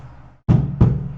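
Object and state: Book knocked.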